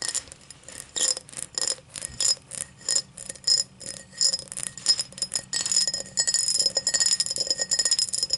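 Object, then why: Cut crystal highball glass. Long black nails tap and scratch the cut base of an empty, tall cut-crystal highball glass held up by hand. Bright, sharp glassy clicks come in short bursts at first. They give way to a denser, continuous scratching that rasps over the ridged crystal.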